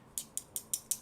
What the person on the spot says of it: you can hear when I tap on it this is plastic